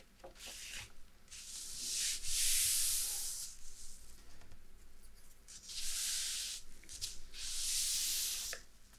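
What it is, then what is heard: Paper map sheet. A large, thin printed paper sheet bearing a historical topographic map is held up and opened out by both hands, then laid flat on a dark table and rubbed with fingertips and dark-polished nails. Bright, airy rubbing and sliding swells come in several broad waves with short pauses between them, over a faint low background.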